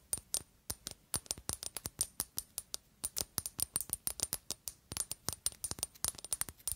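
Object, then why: Glass perfume bottle. Long acrylic nails tap a square, pale pink glass Narciso Rodriguez For Her perfume bottle with a pink cap, hollow and partly full. About 39 quick, irregular taps are heard as bright, dry clicks with a faint high glassy ring. Each tap dies away almost instantly, leaving little low end.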